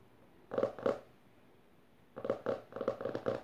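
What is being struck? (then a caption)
Hardcover book with a textured cloth cover. Fingertips and long nails tap and scratch the closed hardcover book's maroon textured cover as it rests on purple fabric, first with one hand, then with both. A pair of short, dry, mid-toned taps is followed by a pause, then a quicker, denser run of taps and scratches with a slight rasp. Each sound stops almost at once, with no ring.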